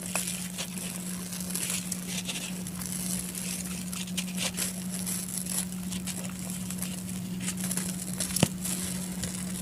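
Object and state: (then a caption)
Dry sand-cement block crumbling. A soft, dry, grey sand-cement block about fist-to-brick size, solid and crumbly, is held in bare hands and crushed, rubbed and crumbled with the fingertips over other grey blocks. Quiet, gritty crackling and patter of crumbling grains continue throughout, with one sharper snap near the end. A steady low hum sits underneath the whole clip.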